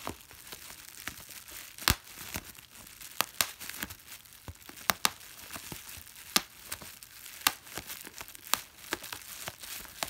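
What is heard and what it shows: A large flat sheet of clear plastic bubble wrap with small air-filled bubbles is held in both hands while the fingertips and thumb press and pop the bubbles one by one. Sharp, bright snaps ring out at irregular intervals over a steady bed of soft crinkling from the plastic film.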